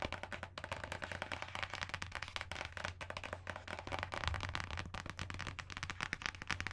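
Long nails tap and scratch the cover of a solid, closed dark green hardcover book with an embossed leaf design, held in front of the microphone. The result is a dense, rapid stream of sharp, bright clicks and scratchy rustles over a steady low hum.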